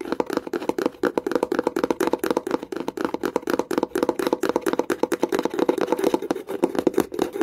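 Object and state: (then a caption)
Wooden box lid. Long nails tap and scratch rapidly on the lid of a small wooden box with a metal clasp. The result is a dense, fast stream of dry, hollow clicks that die away almost instantly, with a woody midrange body around 350 Hz.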